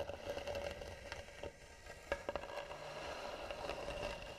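Fingernails scratch and tap with both hands across the hollow lid of a carved, varnished wooden box. A dry, bristly scraping runs throughout, broken by a few sharp, quickly fading taps, over a faint steady hum near 560 Hz.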